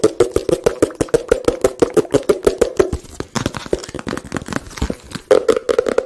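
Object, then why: Small cardboard box. A small, hollow, blue and white printed cardboard product box is held in both hands and tapped and scratched with fingertips and nails close to the microphone. Quick, dry taps give a hollow mid-pitched knock for about three seconds. Softer, irregular scratching and scattered taps follow before the rapid tapping returns at the end, about 38 short hits in all.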